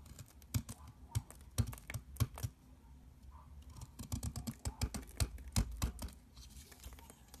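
A box cutter blade scrapes crumbly shavings off a long, solid mint-green soap bar held in the hand. Quick, dry, crisp scrapes and clicks come in irregular bursts, each with a sharp bright attack over a soft low thump. Between the strokes there is a faint crumbling hiss.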